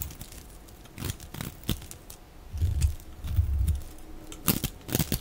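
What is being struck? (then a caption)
Bar of soap cut with a metal blade. A metal utility-knife blade cuts and scrapes strips and chips off the face of a solid, dry, oval green bar of soap held in the hand, played at double speed. Sharp, crackly scraping strokes alternate with low, rumbling grinding passes, and the bursts are short with almost no ring between them.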